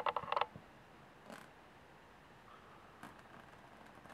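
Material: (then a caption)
Aluminum. Long polished nails scratch and tap on the diamond-textured top panel of a medium, hollow aluminum carry case with metal latches. A quick burst of sharp, bright clicks at the start is followed by softer, sparse scraping and tapping. The dry, creaky taps carry a midrange tone near 875 Hz and stop almost instantly.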